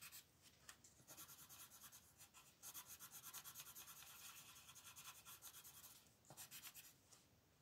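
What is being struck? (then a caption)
Wooden colored pencil on thin paper. A red-orange wooden colored pencil rubs across a thin paper coloring book page lying flat on a table as it shades the lower left area. Quiet, bright, scratchy strokes repeat in a steady back-and-forth rhythm with brief pauses, with almost no low end.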